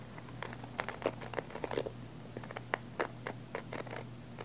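Long nails scratch a small black padded nylon fabric camera case held near the mic, producing short, irregular rasping scrapes and crinkly strokes over a quiet, steady low hum. The scratches come in uneven bursts with brief gaps between them, each one dry and ending abruptly.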